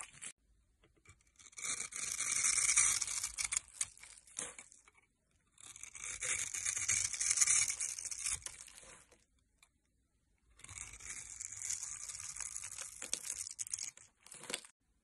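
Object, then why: Bar of soap cut with a metal blade. A solid rectangular bar of green and white striped soap, held in the hand, is scraped and cut into small cubes with a metal blade. Three separate bursts of crisp, dry rasping and crackling are heard, each lasting a few seconds, with bright high-pitched texture and almost no low end. Brief quiet gaps fall between the strokes.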